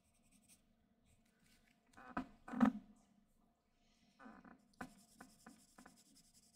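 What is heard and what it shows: A dark graphite pencil held in the hand scratches and shades across a flat white drawing paper sheet resting on a desk. Quiet, dry scratching strokes come in bursts, with the loudest stretch of shading about two seconds in. A run of shorter, brighter strokes follows toward the end.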